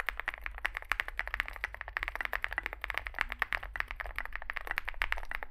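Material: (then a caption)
Plastic. Fingertips type continuously on a small Zoom65 65% mechanical keyboard with a dark case and white and grey plastic keycaps. Rapid, closely spaced clacks with a bright, clicky tone centred around 1.7 kHz cut off almost instantly, over a steady low hum.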